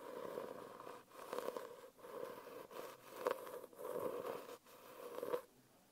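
Long nails tap and scratch across the front cover of a closed holographic foil hardcover notebook held upright on a lap. Six quiet, grainy scratching bursts are separated by brief gaps, each with a steady tonal hum near 500 Hz and a fainter band around 1 kHz. The clip ends in near silence.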